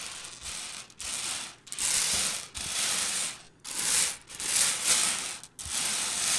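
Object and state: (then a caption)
Small hard-shelled candies raked by fingernails. Long purple fingernails on both hands rake and scratch through loose, small, hard-shelled Reese's Pieces candy-coated peanut butter candies on a white table. The candies make a bright, high, dense rattling and clicking in repeated swells with brief quiet gaps, and there is almost no low end.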